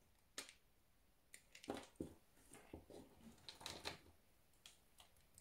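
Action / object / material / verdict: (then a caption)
scrape / solid soap bar cut with a knife / soap / none. A solid pink soap bar, held in the hand, is scored and chipped with a utility knife. Short, dry, bright cutting and scraping strokes come in a series of separate bursts over quiet, with almost no ring after each one.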